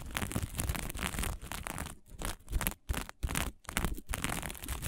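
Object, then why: Sequin-covered fabric. Long fingernails on both hands scratch quickly across a small patch of fabric covered in green and blue sequins. The result is a dense, crinkly scratching with a low rumble underneath and bright, hissy edges. The scratching breaks into shorter bursts with brief silent gaps in the middle before turning steady again.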